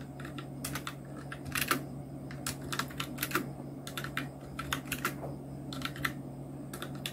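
Fingertips of both hands type on a full-size black Nubwo Illution NK-70 mechanical keyboard with Outemu red switches, round plastic typewriter-style keycaps and blue backlight, resting on a white desk. Bursts of quick, bright plastic clacks come in uneven runs with short pauses, over a steady low hum. Each keystroke is crisp and dies away almost at once.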